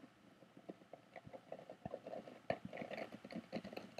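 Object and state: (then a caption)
Woven bamboo box lid. Fingertips and nails tap and scratch on the top of the lid of a medium rectangular, closed box with a woven bamboo/rattan-look surface and a small metal clasp. A quiet, steady stream of dry, short clicks and light scratches is heard, centered around a mid pitch of about 650 Hz with a few brighter ticks. Each tap dies away almost instantly with no ring.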